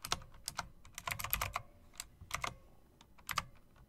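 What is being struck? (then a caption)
Mechanical keyboard with round plastic keycaps and metal rims. Long-nailed fingers type rapidly on a typewriter-style mechanical keyboard with round plastic keycaps and metal rims. About a dozen sharp, bright clicks arrive in quick bursts separated by short pauses, each dying away almost instantly.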